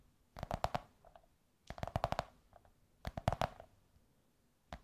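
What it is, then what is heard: Cardboard tube, tapped. Long nails tap and scratch a hollow, curved beige kraft cardboard tube held up in the air. Three quick bursts of dry, muffled taps come with a hollow midrange tone. A final lone tap follows, and each one dies away almost at once.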